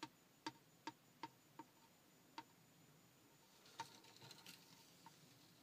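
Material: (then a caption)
Plastic. Fingertips and nails tap on the clear plastic lens of a large round Mini Cooper speedometer with a chrome bezel. Six quiet, sharp, clicky ticks with almost no ring come first, followed by a few softer taps mixed with faint scratchy rubbing.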